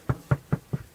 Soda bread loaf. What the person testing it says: the usual knock knock knock test that sounds hollow then it's ready